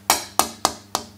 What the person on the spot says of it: यह पूरी तरह से अलग है और यह संकेत दे रहा है कि यह है बोर्ड को काफी अधिक घनत्व मिला है